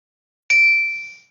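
A glow-in-the-dark, resin-encased fake jellyfish spinning on a desk pad accidentally strikes a ceramic coffee mug. The single hit gives a loud, bright ding with a high ringing tone and a clear lower partial near 2.3 kHz. The ring fades out over about 0.8 seconds.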